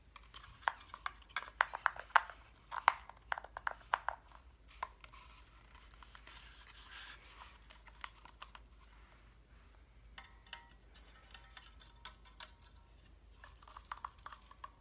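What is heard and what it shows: A hand-held, flat cut-out reindeer decoration made of light solid wood with wooden number blocks is tapped and scratched with fingernails. Quiet, sharp, dry clicks cluster in the first few seconds with almost no ring, then give way to soft rubbing and scratching. Brighter scratches and scattered taps return toward the end.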